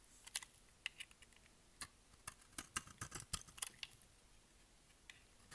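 A solid, dry, rectangular white bar of soap with embossed lettering is held in the hand and shaved with a utility knife blade. About twenty short, crisp, bright scraping and cutting snicks come at an irregular pace, with a quiet gap in between and almost no low end.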